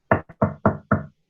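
A table is knocked to show that sound travels through solid objects to a classmate listening at the table. Four dull, hollow knocks sound in quick succession, with a faint tap between the first two. Each is short and woody-toned, mid and low, with little high end.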